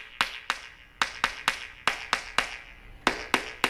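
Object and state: Hollow-sounding debonded concrete topping.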